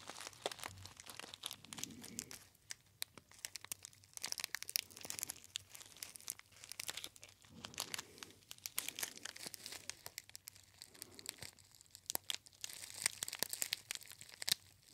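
A gold foil pouch with a paper label, seemingly partly filled, is squeezed and crinkled with the fingers, moved in front of the face and held up at the ear. The result is dense, bright, crackly crinkling with rapid sharp snaps and almost no low end, swelling and easing in waves. Brief soft muffled rustles sit beneath the crackle.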